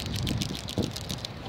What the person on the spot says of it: you got to shake these things up they've got a ball in there just like a spray paint can